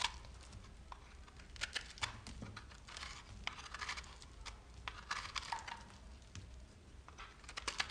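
A handheld solid bar of dry, crumbly, speckled green soap is shaved and cut with a red-handled metal knife, and bits crumble away as it goes. The blade makes dry, crisp scraping and crackling with many short, bright snaps and ticks over a quiet background. The sharp crunches come in irregular bursts throughout.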